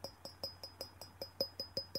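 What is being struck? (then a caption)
Small porcelain jar. A small porcelain jar is tapped repeatedly, giving eleven sharp, evenly spaced clicks. Each tap carries a high, clear ring with a lower tone around 550 Hz. The ring is brief, and the jar rings rather than thudding, as sound porcelain should.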